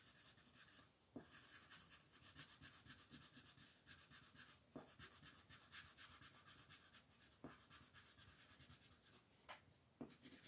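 A yellow-green wooden colored pencil shades a large paper coloring sheet lying flat on a table, with the other hand resting on the paper. Continuous strokes make a soft, steady, bright scratchy rubbing, broken by occasional short sharp ticks. The sound stays quiet throughout.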